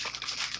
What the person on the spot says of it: when you shake it, it has that little ball inside that helps to mix everything up